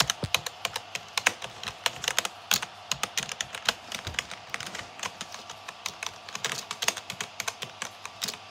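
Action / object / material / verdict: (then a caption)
tap / plastic computer keyboard / plastic / none. Fingertips type quickly across a black plastic gaming keyboard with hollow keycaps, producing a steady stream of fast, bright tapping key presses. Each click is short and dry with almost no low end, and occasional louder strikes stand out from the run of typing.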